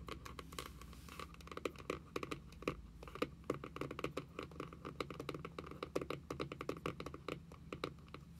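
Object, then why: Cardboard notebook cover. Both hands tap rapidly on the printed card cover of a closed journal with long nails. The result is a quick, uneven patter of short, dry clicks that stop almost at once. A faint low hum runs steadily underneath.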